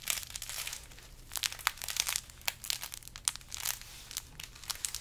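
Fingers squeeze and scratch a large carrot-shaped decoration wrapped in burlap with green ribbon. The result is dry, bright, crinkly rustling with quick scratchy crackles that come and go, with almost no low end.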